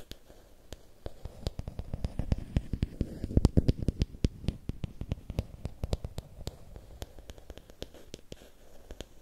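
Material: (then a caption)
Bamboo. Fingernails tap and scratch along a long, thin, solid bamboo or wooden stick held diagonally. Dozens of quick, dry clicks come in a steady stream, each with a soft low thump and a faint bright edge that dies away at once. The tapping grows fuller and louder through the middle before settling back down.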